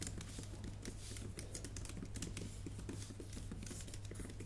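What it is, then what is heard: Laptop keyboard with plastic keys. Long painted nails and fingertips type on a MacBook Pro keyboard with plastic keys set in an aluminum body. Rapid, soft, bright clicks and taps run steadily throughout over a constant low hum.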